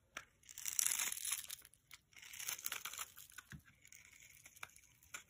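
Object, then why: Soap bar. A palm-sized solid green soap bar is held in one hand while a metal knife blade scrapes and carves thin shavings off its surface, the shavings piling up below. Bursts of dry, bright crunching and crinkling scrapes rise and fall, broken by short sharp clicks of the blade, with almost no low end.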